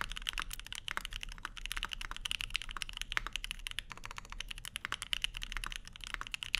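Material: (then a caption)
Aluminum, plastic. A Keycult No. 2/65, a 65% mechanical keyboard with a black case, plastic keycaps, an aluminum plate and lubed Lavender linear switches, sits on a desk mat with a wooden wrist rest while both hands type steadily on it. A rapid, continuous stream of short, crisp clacks with a bright peak around 2.5 kHz stops almost instantly after each press, with a faint low thud underneath.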